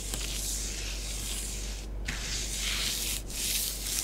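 Long fingernails on both hands rake swirling patterns through a layer of orange bath bomb powder spread on a grey tray. The result is a steady, bright, hissing scratch-and-rub texture with brief dips in the sweep near the 2- and 3.2-second marks, over a constant low hum.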